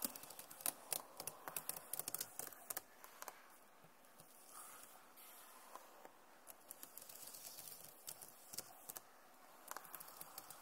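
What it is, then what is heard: Plastic laptop keyboard. One hand taps and scratches with its nails across the plastic keys of a backlit Acer laptop keyboard. Quick, sharp, bright clicks come in irregular bursts, with no ring after each tap. Softer, hissy scratching stretches fill the gaps, all at a low overall level.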